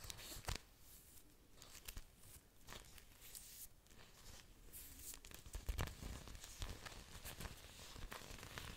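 Orchid leaves with aerial roots are held up close to a microphone while long nails scratch and rub across the waxy leaf surfaces. The result is soft, crinkly, tearing-like scratches with bright, hissy bursts over a quiet low rumble, with a few sharper, louder strokes standing out.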